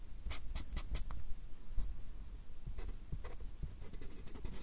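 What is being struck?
Fine-tip pen on a paper drawing pad.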